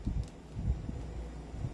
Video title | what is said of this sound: Let's Unbox This Trex 2011 Hi-Capa | Walang kakalog-kalog, up and down, talagang hindi siya kumakalog.